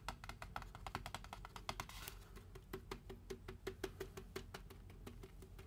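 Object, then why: Foam drink cup. A large styrofoam drink cup is turned upside down and its side and flat bottom are tapped with fingertips and nails. The result is a rapid stream of short, dry, hollow clicks with a mid-pitched tonal knock. A brief brushing scrape rises around the two-second mark, all over a steady low rumble.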